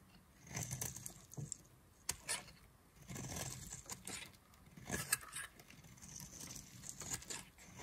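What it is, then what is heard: Dry soap bar being carved. A hand-held, solid yellow-and-white striped bar of dry soap is scraped and carved with a black knife blade. Bursts of bright, dry scraping and crisp crackling rise and fade, with a few sharp clicks and a soft low rustle underneath. The shavings come off quietly, with no ringing between strokes.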